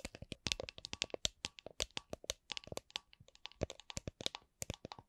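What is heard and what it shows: Long nails tap and scratch on the side and bottom of an empty, hollow, transparent plastic drink shaker with a red lid. About 33 quick, dry, high clicks with faint rubbing come at a slow-to-medium pace. Each hit dies away almost instantly.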